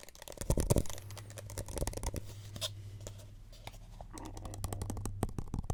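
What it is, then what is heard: Plastic cup. Soft, dull tapping on a plastic Solo cup, heard up close as a quick series of short, muffled taps with a few light scratchy brushes. The taps are low and thumpy with almost no ring, and a steady low hum runs underneath.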